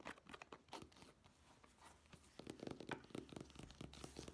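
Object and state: Fabric clutch bag scratched.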